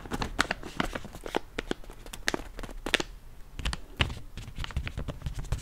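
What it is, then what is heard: Plastic foil snack bag being crinkled. Fingers scratch and crinkle a yellow plastic foil chips bag, about hand-sized and partly full. It makes a quick series of sharp, bright crackles and scratchy taps with soft low thuds underneath, each burst dying away almost instantly.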